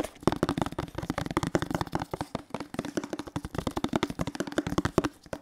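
A hollow teal plastic detergent bottle is tapped with fingertips along its body and base close to the mic. A rapid, uneven run of short, dry, hollow knocks carries a low-mid tone, each tap dying away almost instantly.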